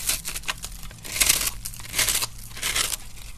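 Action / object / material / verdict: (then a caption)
scrape / starch soap block scraped by a metal knife / starch soap / none. A metal knife scrapes and crushes the crumbly surface of a solid, pink-and-white dry starch soap block while fingers hold it steady on a dark surface. Bright, dry crunching and crackling bursts come in uneven waves as bits break away, with brief, rasping scrapes between them.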